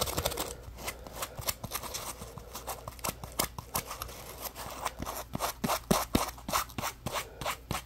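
A yellow porous polymer foam Scrub Daddy puppy scrub sponge is held in one hand while the fingertips of the other hand flick and scratch its foam edge. The result is a rapid, uneven series of short, dry scratching and flicking sounds with a crisp, bright texture and very little ring after each stroke.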